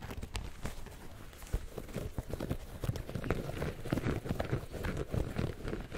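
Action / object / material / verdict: tap / sneaker with mesh upper and rubber sole / mesh, rubber / none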